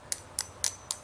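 Letters made from epoxy putty, left to cure for just over two hours, are struck four times, each giving a short, bright, high-pitched ting that dies away almost at once. The ringing tone shows the putty has already hardened well.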